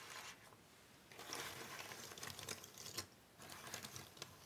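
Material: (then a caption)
Cardboard. Two hands with long nails spread and rub a loose pile of small, thin cardboard jigsaw puzzle pieces on a wooden table. The pieces give off a dry, bright rustling and clicking shuffle, soft at first and then busier and louder, with quick crisp ticks scattered through it.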